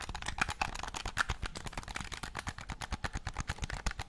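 Painted fingernails rapidly tap and scratch the top edge and shell of a black, hollow, hand-sized plastic game controller held close to the mic. The result is a fast, steady run of short, dry plastic clicks with a soft low thump and brighter scratchy texture, each tap dying away almost instantly.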